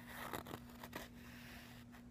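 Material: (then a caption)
Canvas fabric. Fingertips and nails slowly tap and scratch the surface of a medium-sized, soft, filled makeup pouch made of woven canvas-like fabric with a floral print. Four quiet, dull taps rise out of a continuous soft, scratchy rustle of nails dragging across the fabric.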